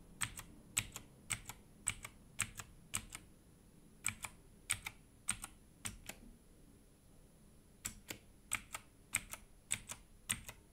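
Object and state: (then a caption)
Plastic mechanical keyboard. A gloved hand types with its fingertips on a compact, orange-cased Redragon mechanical keyboard with plastic keycaps, producing about thirty quiet, sharp, bright clicks that often come in quick pairs at an uneven pace. Each click dies away almost instantly, with a faint steady high tone and low background rumble underneath.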